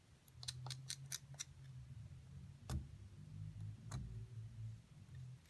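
A metal pick scrapes around the cavity of a solid plaster block with a partly exposed figure inside, loosening plaster chunks while the other hand steadies the block. About seven short, bright scratchy clicks stand out, five in quick succession early on and two more spaced later, each dying away almost at once. A steady low rumble sits underneath throughout.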